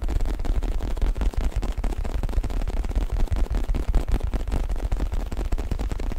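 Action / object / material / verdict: scrape / stuffed faux leather neck pillow / faux leather / none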